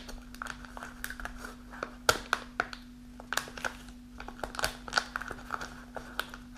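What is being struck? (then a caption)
Kraft paper pouch, partly filled. A partly full kraft paper snack pouch stands on a table while long nails scratch its folded top and sides. The nails make dry, crackly crinkling with many small bursts and sharp ticks. A steady low hum sits under it, and a few louder snaps stand out.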